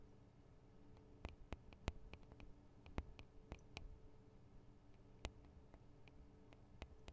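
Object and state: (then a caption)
Recorder microphone capsules tapped with nails. Long acrylic nails from both hands tap the small hollow metal and plastic microphone capsules of a Tascam DR-40 recorder. The result is a scattered series of short, sharp, bright clicks that die away almost instantly. A faint, steady low hum sits underneath throughout.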